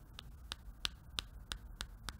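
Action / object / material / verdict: tap / smartphone glass screen / glass / solid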